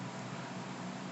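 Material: Nothing is struck.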